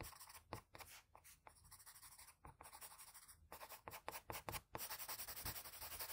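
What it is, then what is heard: Graphite pencil on drawing paper. A blue-and-white wooden graphite pencil makes repeated short scratching strokes across the face of a flat sheet of drawing paper. The dry, bright, papery scratches come in quick, uneven bursts, then merge into steadier, denser scratching in the last second and a half.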